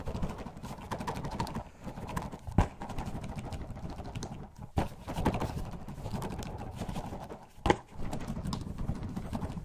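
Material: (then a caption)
Plastic. A clear plastic bottle with a white cap, holding purple Orbeez water beads, is shaken and tilted in a gloved hand. The beads make a steady, dense, low-heavy rattling and clip-clop patter, broken by three louder thumps.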